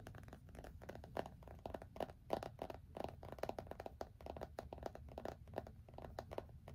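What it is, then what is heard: Phone in a plastic case. Fingertips and short nails rapidly tap and scratch the back of a small iPhone in a black plastic case, held flat against the chest in both hands. The result is a quiet, dense stream of short, dry clicks and scrapes centered around 650 Hz, with a low rumble underneath and little bright content. Each tap dies away almost instantly.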